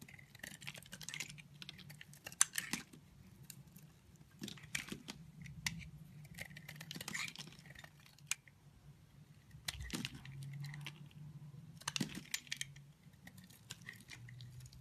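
A utility knife blade slices and shaves pieces off the corner of a solid, brown translucent bar of soap. Crisp, bright scraping and crackling cuts come in short bursts over a low, steady hum.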